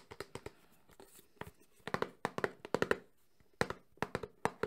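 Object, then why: Small closed cardboard box. Fingertips and nails tap rapidly across the faces of a small closed cardboard Samsung phone box. About twenty short, dry, hollow taps with a mid-pitched knock come in quick uneven bursts. Each tap dies away almost at once.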